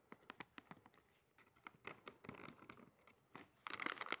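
A small, sealed, printed plastic and foil pouch of limited-edition Doraemon mini chocolate chip cookies, still full, is squeezed, rubbed and crinkled between the fingertips and thumbs while being turned. Quick, sharp crackles start as separate snaps, then merge into denser, brighter crinkling bursts toward the end.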